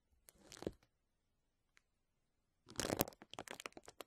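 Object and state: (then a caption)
Plastic bubble wrap being scratched. A large clear plastic bubble wrap sheet lies over the microphone while fingertips and short nails lightly scratch and rub across its air bubbles. A brief burst of crinkling is followed by a near-silent pause with one faint tick, then a denser run of bright, crackly crinkles and short scratches.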